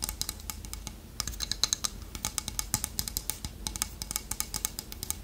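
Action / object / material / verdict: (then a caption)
tap / small carved wooden toucan figurine / wood / none. Long nails tap quickly on the beak of a small, solid, polished dark wood toucan carving held in the hand. A fast, uneven run of short, dry, bright clicks follows, each stopping instantly with no ring, over a faint low background rumble.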